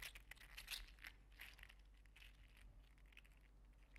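A green-teal, 3D printed, segmented PLA articulated slug toy is held in the hands and flexed and squeezed so its segments click. Quiet, bright, crinkly plastic clicks and ticks come in irregular bursts over a steady low hum.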